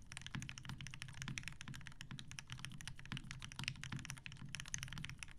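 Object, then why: Mechanical keyboard with PBT plastic keycaps and metal case. A TGR Jane V2 mechanical keyboard with 63.5g Tealios switches, cream and grey PBT plastic keycaps and a dark grey metal case sits on a desk mat while the fingertips of both hands type on it continuously and rapidly. The result is a steady stream of quick, tightly damped keystrokes, each with a deep low thock and a bright clacky top.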